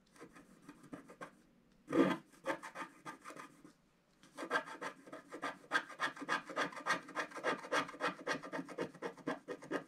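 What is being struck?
Wax-coated scratch art card scratched with a wooden stylus.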